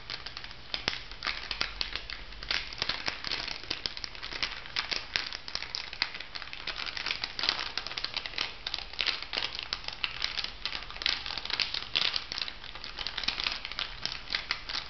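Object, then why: Plastic foil cosmetic sachet. An orange plastic foil cosmetic sachet lying flat is scratched and tapped with long nails, making a dense, continuous stream of bright, crisp crinkles and crackles. The sharp little clicks die away almost instantly, over a faint low hum.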